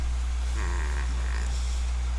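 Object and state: Nothing is struck.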